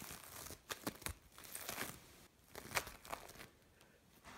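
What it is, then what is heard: Bead play foam being kneaded. Fingers knead and scrunch a mixed lump of blue and orange bead play foam, producing soft, bright crinkling and crackling with sharp popping clicks. The quiet scrunching comes in bursts separated by brief near-silent pauses.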